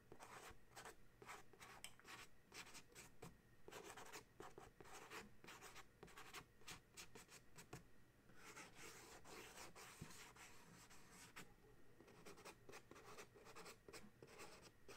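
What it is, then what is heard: Cardboard box scratched with fingernails. Fingernails scratch and trace across the front of a small white and purple printed cardboard dryer sheet box, full of sheets and resting on a towel. Quiet, dry scraping strokes with bright papery hiss and short taps come steadily in bursts across the clip, over a low soft rumble.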